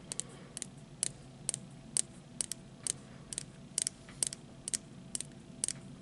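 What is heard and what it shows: A small, hollow, printed plastic disposable lighter with a metal hood is held horizontally and tapped with the fingertips and short nails of the other hand. Fifteen sharp, bright, clicky taps land in a steady rhythm, each dying away almost instantly. A faint low background hum runs underneath.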